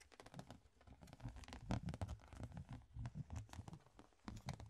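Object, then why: Plastic box lid. A flat, rectangular, ribbed clear plastic box lid is held in the hands and tapped and scratched with the fingertips. A quick, irregular run of soft, hollow plastic taps and crinkly scratches mixes low thuds with bright clicking edges. Each tap dies away almost at once.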